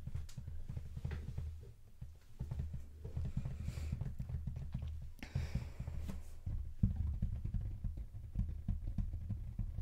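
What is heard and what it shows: Fingertips with short nails tap and scratch across the speckled black printed cardboard lid of a large, hollow rectangular Jordan "Flight" sneaker box. The result is a steady run of dull, low, hollow taps with short scratchy brushes between them, each dying away almost at once.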